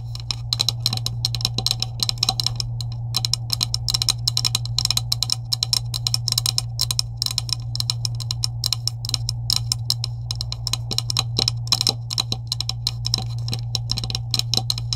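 Long acrylic nails tap rapidly on a green hollow plastic PVC pipe with couplings lying on a table. The result is a dense, continuous stream of short, bright, dry clicks with almost no ring, over a steady low hum.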